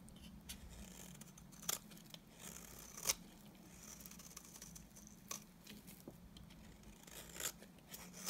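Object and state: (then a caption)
Bar soap shaved with a blade. A utility knife blade scrapes thin curls off the face of a solid, dry, cream-colored rectangular bar of soap. Soft, bright scraping strokes repeat with sharp crackly bursts standing out above a faint steady low hum.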